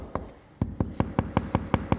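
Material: Ceramic.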